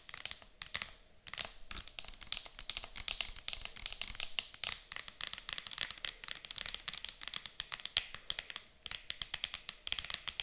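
Long acrylic nails tap rapidly on the lid of an empty, transparent hard plastic game case that lies closed and flat on a table. The result is a dense, irregular stream of sharp, bright clicks with almost no low end, each one dying away instantly with no ring.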